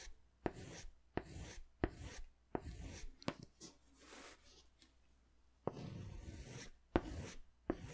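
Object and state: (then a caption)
Crayon strokes on a paper sketch pad. A green crayon is scratched in strokes along the bottom edge of a large white paper sketch pad held upright. Each stroke starts with a sharp tap, then a dry, gritty rasp that fades; a quieter pause in the middle gives way to more strokes.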